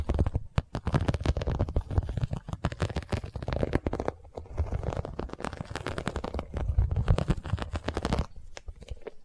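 Long nails scratch and tap the surface of an iridescent, embossed holographic vinyl zippered cosmetic pouch. Dense, crackly scratching mixes with rapid, dull taps carrying a heavy low rumble. There is a brief lull around the middle, and the sound thins out to quieter, sparser taps near the end.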